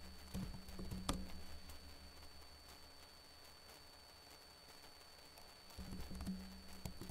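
Fingertips with short blue-painted nails type on the plastic keys of a backlit laptop keyboard, making soft, irregular clicking taps. The taps cluster at the start and end with a quieter stretch in the middle, over a steady low hum and a faint high tone.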